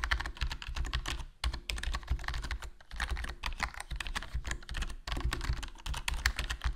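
Fingertips type continuously on a HyperX Alloy Core RGB plastic membrane gaming keyboard with a foam mod, black plastic body, black plastic keycaps and a hollow case. The result is a dense stream of short, muffled, low-heavy key thocks with a light clicky top. Brief pauses break the stream near 1.4, 2.7 and 5 seconds.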